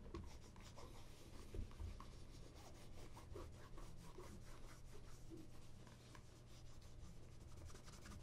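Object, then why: Leather ankle boot. A cloth wrapped over the fingers rubs a black polished leather ankle boot, hollow and empty, held by its shaft. The result is a quiet, steady rubbing with a dull, low-heavy body and faint brighter scratchy streaks, with small swells as the strokes continue.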